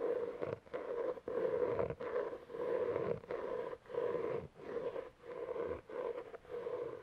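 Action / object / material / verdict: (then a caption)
scrape / cloth-covered hardcover book / cloth, board / none. Fingertips and nails tap and scratch the board cover of a solid, medium navy-blue cloth-covered hardcover book held close to the mic. The result is a run of soft, steady scratching strokes centered in the midrange around 500 Hz, broken up by brief quiet gaps.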